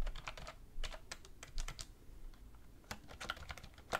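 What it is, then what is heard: Plastic computer keyboard being typed on. A black plastic wireless computer keyboard resting on a wooden desk is typed on with both hands, using fingertips and long red-painted nails. Rapid, irregular key taps produce short, bright clicks over a soft low thud, with brief pauses between bursts of typing.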